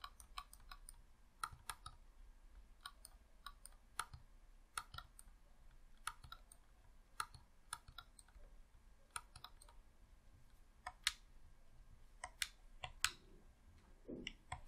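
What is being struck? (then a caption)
Plastic game controller. A hollow red plastic Xbox controller is worked by fingertips clicking its buttons and thumbsticks. Sharp, bright plastic clicks come in irregular bursts of many separate presses over a quiet background. A faint low thump is heard near the end.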